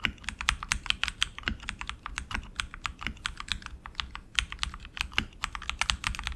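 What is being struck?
Mechanical keyboard with plastic keycaps on an aluminum frame.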